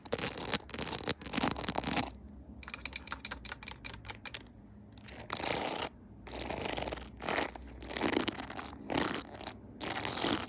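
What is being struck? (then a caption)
Plastic phone case decorated with rhinestones and pearls. A clear plastic phone case decorated with pearls and rhinestones, on a mounted phone, is tapped quickly with long nails. The result is rapid, dry, bright clicks that come in dense bursts, with short scratchy stretches between them.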